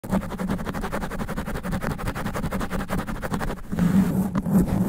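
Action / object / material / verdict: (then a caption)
scrape / foam microphone windscreen / foam / none. Black extra-long nails scratch quickly and aggressively at the thick sponge foam cover over the head of a large cylindrical studio microphone. The result is a dense, rapid, muffled scratching dominated by low rumble with a steady hum-like tone near 190 Hz, growing louder in the last second.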